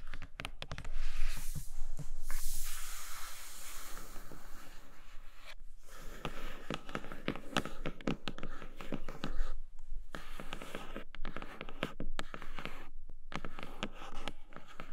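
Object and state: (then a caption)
Cardboard box with plastic window. Long nails quickly scratch and tap on a flat grey cardboard Nomad box with a clear plastic window. Dense, rapid scratching and crisp tapping continue throughout, over a steady low-heavy body with brief quiet gaps.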